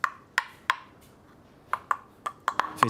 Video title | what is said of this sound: From trash to fine dining: The French startup recycling oysters into porcelain • FRANCE 24 English | If it sounds hollow, you can see that this one is a bit broken